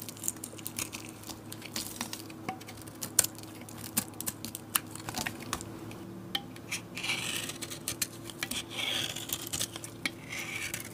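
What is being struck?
Bar of soap carved with a metal blade.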